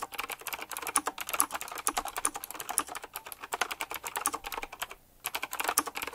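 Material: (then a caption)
Plastic. Fingertips type fast on a retro typewriter-style mechanical keyboard with round plastic keycaps set in chrome rings. The result is a dense, rapid stream of sharp, bright clicks with almost no low end, broken by one brief pause near the five-second mark before the typing resumes.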